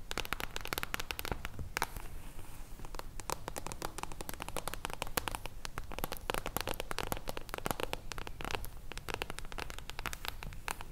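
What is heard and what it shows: Long blue nails tap and scratch the silver mirror-foil cover of a solid hardcover book held upright. The result is a steady, dense stream of quick, dry, crackly clicks and brief scratches, each dying away almost instantly, with bright edges over a low, soft background.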